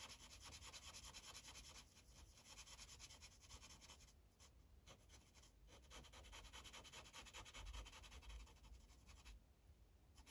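A light-blue Sharpie felt tip is rubbed over a thin white coloring page on a plastic clipboard in fast back-and-forth coloring strokes. It makes a steady, bright, scratchy rubbing over a soft low rumble, with the high hiss dropping briefly a few times and fading near the end.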